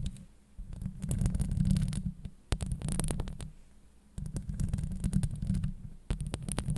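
Long acrylic nails scratch the hollow steel mesh grille of a Blue Yeti microphone. The result is a deep, muffled rumbling scrape with faint bright ticks, heard in three surges separated by brief quieter lulls.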